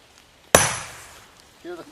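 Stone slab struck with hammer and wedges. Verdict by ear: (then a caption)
Cracking. A hammer strikes a wedge driven into a stone block being split for a bench, giving one sharp, bright ringing crack that fades over about a second, followed by a short voiced sound. Its tone differs from the usual dull thud, showing the stone starting to crack, and it later splits into a good slab.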